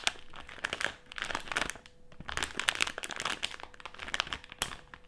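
A colorful printed plastic snack bag filled with jelly candies lies flat on a table while both hands crinkle and scratch it with fingertips and nails. Dense, bright crinkling and sharp crackles run throughout, easing into brief quieter stretches before picking up again.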